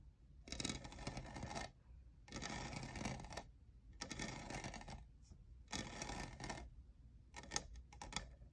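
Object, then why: Plastic studded tumbler. Fingertips and nails tap and scratch rapidly across the textured side of a tall, hollow, lavender iridescent plastic Starbucks jeweled tumbler with a lid and straw, which appears empty. The sound is a dry, bright, clicking rattle that comes in long bursts separated by short pauses, followed by a few shorter, choppier bursts at the end. The taps are quiet with almost no ring.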